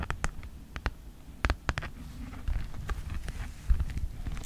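Long nails and fingertips scratch and tap the surface of a red Mead folder made of thin plastic with a hexagon texture, lying flat. Sharp, quick clicking taps stand out over a soft, continuous scratching rustle with a low, dull body.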